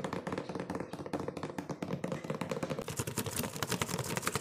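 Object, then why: Cardboard cookie box. A medium printed cardboard cookie box, top opened, hollow and mostly empty, is tapped fast with fingertips and nails. About 35 quick, dry, hollow taps run together in a steady patter with almost no ring, getting slightly brighter toward the end.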